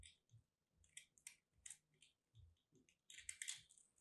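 A craft blade cuts and scrapes into a solid lilac soap chunk with a starch coating, held in fingers. The result is a quiet run of about eleven crisp, bright crunches and crumbling crackles, each fading quickly, with soft low thuds underneath.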